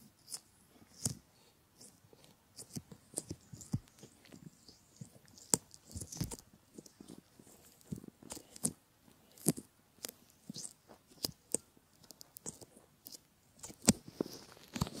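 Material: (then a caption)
Silicone. Fingertips of both hands pinch and rub the rims of a pair of solid silicone ear models. The result is quiet, irregular bursts of soft rubbery squeaks and scratchy rubbing, with brief sharp snaps and a bright, airy hiss over a low, muffled thud.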